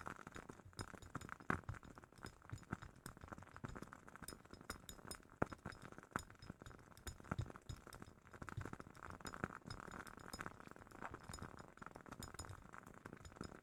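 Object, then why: Glass candle jar. A glass jar holding a WoodWick candle is tapped lightly and quickly, giving a steady run of soft, dry glass clinks and ticks. The taps are quiet and close together, with very little ring after each one, and they continue throughout.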